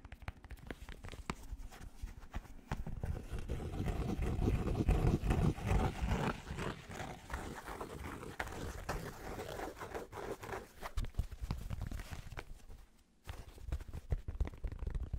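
Fingertips quickly tap and scratch the brim and printed inner lining of a black fabric snapback cap with a purple underbrim. The result is a dense, uneven stream of dull, low thumps and soft scratchy rustles that build to a peak midway, then briefly drop away near the end before resuming.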